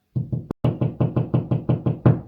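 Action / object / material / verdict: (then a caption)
knock / drywall wall panel / drywall / hollow. Knuckles knock on a drywall wall over a hollow cavity where cables are to be run, giving twelve quick, low, hollow knocks with short decays. One of them is a brief sharper click. The sound confirms there is no stud behind that spot.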